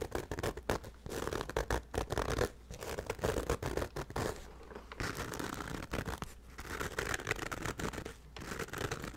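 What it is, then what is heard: Nylon fabric bag. A hollow black nylon fabric bag with a handle is held over a microphone and scratched briskly with the fingertips. The result is a dense, continuous scratchy rustle in uneven bursts with brief dips, full in the low and middle range.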